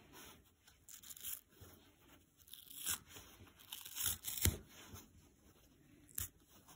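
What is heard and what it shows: A dry, soft yellow polyurethane foam sponge is stretched and ripped apart by hand. Quiet, crisp tearing and crunching bursts come in uneven spurts, with a sharper rip near the middle and another toward the end. Faint crackling fills the gaps between them.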